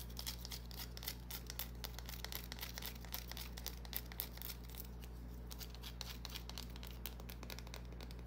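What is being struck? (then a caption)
Small bar of soap. Long nails scratch the surface of a small solid green bar of soap held in the palm. Quick, uneven bright scratches and crinkly clicks follow one another in rapid succession over a steady low hum.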